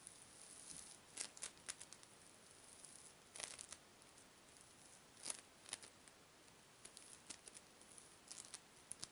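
A hand-sized lump of yellow floam, tiny polystyrene foam beads bound in slime, is held in the hand as a soft, solid mass and squeezed and kneaded with fingertips and long pink nails. It gives quiet, bright crackling and popping bead sounds in irregular bursts over a steady high hiss, with each snap dying away almost instantly.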